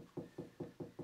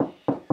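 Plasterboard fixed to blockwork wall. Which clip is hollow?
The second.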